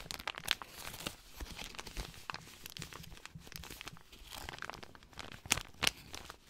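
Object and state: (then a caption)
Paper compress packet being crinkled. A folded white paper compress pouch is rubbed and crinkled between the hands. It makes a continuous, bright crinkling and rustling with a tearing quality. A few sharp, louder crackles stand out near the start and toward the end.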